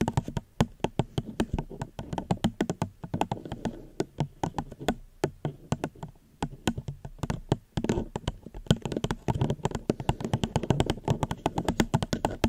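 Gentle tapping on a plastic cup held close to a microphone produces a fast, uneven stream of short, dry clicks and knocks. Each tap dies away almost instantly, with a soft low body and bright ticking edges. The taps come in quick bursts with brief lulls, without speech.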